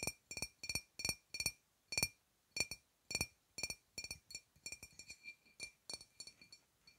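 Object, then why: Glass wine bottle. Long nails tap a full-looking dark glass wine bottle with a paper label, close to a small lavalier microphone. About twenty short, bright glassy clinks come in quick pairs and runs, each with a clear tone near 2.5 kHz and high overtones that die away almost at once. The taps grow quicker and lighter toward the end.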